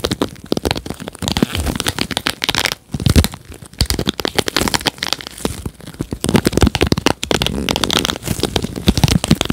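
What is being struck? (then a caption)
Plastic paddle hairbrush bristles. Nitrile-gloved fingertips pluck and scratch across the many plastic-tipped bristles of a red plastic paddle hairbrush held behind the mic. The result is a dense, continuous stream of quick crackling ticks and scratchy rasps, bright on top with soft low thumps underneath. It swells and dips in bursts, with a brief lull near the three-second mark.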